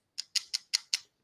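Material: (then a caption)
Wood pulp. A skincare product container made from wood pulp is tapped five times. Each tap is a short, bright click that sounds like plastic, though the container is wood pulp that biodegrades like a piece of wood.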